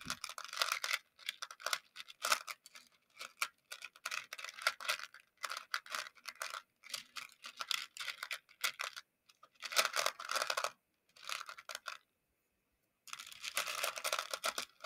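Small colorful plastic pony beads in a shallow round clear plastic container are stirred and scratched with the handle of a makeup brush. Bursts of bright, crisp clicking and rattling come in short strokes separated by brief pauses, with a longer silence near the end before a final stretch of stirring.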